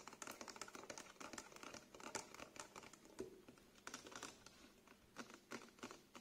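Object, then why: Small plastic bottle partly filled with liquid. Fingernails tap and scratch along the sides of a small, clear plastic cleanser bottle with a green label and white cap, partly filled with liquid and held in the hands. A quiet, fast stream of light, clicky taps mixes with dry scratching, bright with almost no low end. Each tap dies away quickly.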